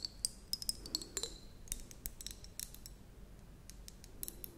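Long blue acrylic nails tap a small clear glass jar with water inside as it is held up, producing layered tapping. Each tap is a quick, bright clink with a high glassy ping that dies away almost at once. The taps come in uneven clusters over a soft low background hiss.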